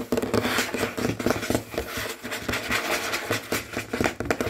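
Fingernails of both hands, medium-length and natural with rings on the fingers, tap and scratch quickly and hard across a large solid tabletop with a dark wood or wood-look finish. The result is a dense, rapid run of sharp clicks and scraping scratches, each dying away almost instantly.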